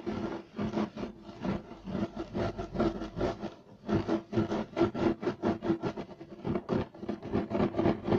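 Short nails on both hands scratch fast across a flat, solid, beige striped woven loop-pile carpet. The result is a run of rapid, dry rasping bursts with a brief pause partway through. The scratching has a dull, low-mid texture with little brightness, and each stroke dies away quickly.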